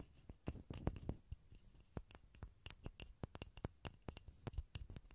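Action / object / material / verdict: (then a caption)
tap / small pine wood block / pine wood / none. A small solid pine block held over a stereo recorder is tapped with fingertips in quick, irregular bursts. Each tap is a short, dry knock with a low, hollow thump and a faint bright click on top, dying away almost instantly, and the whole passage stays soft.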